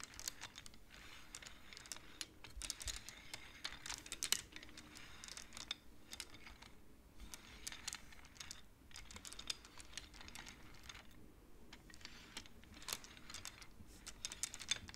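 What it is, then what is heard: Wooden abacus beads. Fingertips push the painted wooden beads of a wooden abacus along its metal rods. The result is quiet, rapid, bright clicking and clacking that comes in irregular bursts, each click short and dry with almost no ring.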